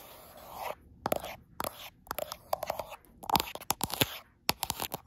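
Long acrylic nails quickly scratch and tap across the frosted glass back of a gold iPhone Pro. Bursts of bright, hissy scraping alternate with rapid, sharp clicks that stop almost instantly. The taps have a hard, glassy edge centered around 1 kHz.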